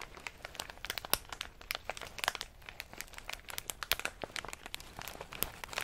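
Fingers squeeze and crinkle a medium plastic snack bag full of in-shell pistachios, held close up. A dense, uneven run of sharp, bright crackles and crunches fills the clip, each dying away almost instantly over a faint rustle with very little low end.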